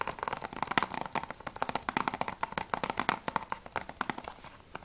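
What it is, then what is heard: Plastic game case. Fingernails tap quickly on a closed, hollow plastic PS3 game case for Battlefield Bad Company 2, first on the front cover and then on the spine. About thirty short, dry clicks with a hollow plastic ring around 950 Hz and bright edges come in a rapid, uneven run. Each tap dies away almost at once.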